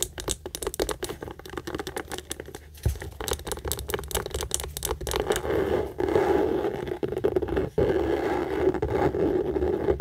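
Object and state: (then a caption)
Pebbled leather handbag. Long nails rapidly tap and scratch the textured front of a hollow tan pebbled-leather Michael Kors tote held close. Quick, irregular dry ticks come first, then blend into a steady, grainy scratching rasp with a mid-pitched body through the second half.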